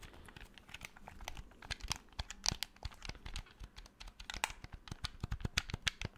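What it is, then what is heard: Plastic game controller, buttons clicked. A black hollow plastic PS4 game controller is held in both hands while fingertips tap and click its triggers and buttons close to the microphone. Dense, quick, dry plastic clicks and ticks are heard, bright and crisp with a soft low thump beneath some presses. The clicks stop instantly with no ring.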